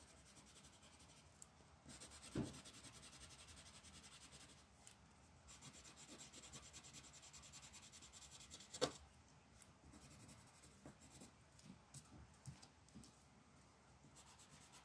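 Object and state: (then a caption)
Colored pencil shading on paper. A pink colored pencil shades a flat printed paper coloring page resting on a dark table, moving in fast back-and-forth strokes. The result is a steady, dry, bright scratching and rubbing that pauses briefly now and then. Two sharper, louder strokes stand out, near the 2-second mark and just before the 9-second mark.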